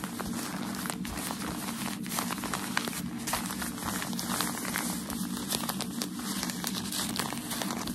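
Crumpled white tissue shoe packaging paper is held in both hands while fingers rub and crinkle it and nails scratch across it. The result is a steady, dense crinkling crackle full of bright, quick ticks over a low, even hum.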